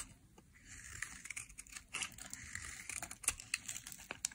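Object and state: Dry soap bar being carved.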